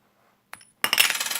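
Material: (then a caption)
Copper-nickel. A small copper-nickel coin is given a ping test, with a higher pitch than a larger coin because it is much smaller. A faint tap with a thin high tone is followed by a bright, shimmering metallic ring centered near 2.8 kHz, pulsing rapidly as it sustains to the end of the clip.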